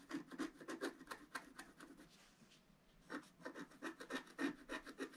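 A wooden stylus scratches the black coating off a flat scratch-art paper card, working over a yellow flower and its centre. It makes a quick run of short, dry rasping strokes with a brief quiet pause midway before the scratching resumes.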